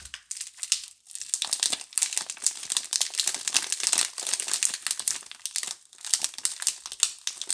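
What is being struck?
Cardboard soap box in cellophane wrap.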